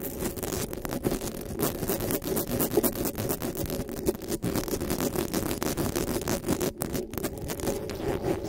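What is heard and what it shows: Long nails tap and scratch the metal mesh grille of a black desktop microphone, and fingers rub across it. The result is a dense, continuous scratchy rustle with quick, tightly packed taps and a steady mid-low hum around 400 Hz, plus brief bright scraping streaks throughout.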